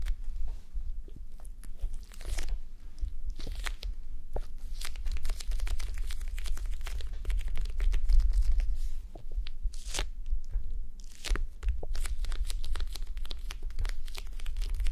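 Long manicured nails scratch and tap across the beaded surface of a red, clear plastic face mask filled with gel beads, resting on a mannequin head. The result is a dense, continuous stream of crunchy, crinkly scratching with sharp, bright clicks over a steady low rumble.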